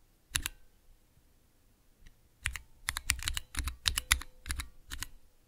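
Fingertips with long nails press and tap clear plastic keycaps on Cherry MX switches with red, clear and green stems, set in the clear plastic base of a mechanical keyboard switch tester. A single sharp click is followed by a pause, then a quick, uneven run of bright plastic clacks with a soft low thump under each. Every click stops almost instantly.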